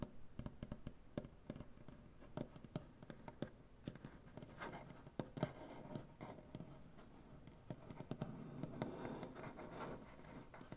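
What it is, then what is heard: Wooden butcher-block table. Both hands scratch and tap across a large solid wooden butcher-block tabletop with medium-length dark painted fingernails. Quiet, dry scratching runs under a steady stream of short, sharp taps, each dying away almost instantly with a low, woody body and little brightness.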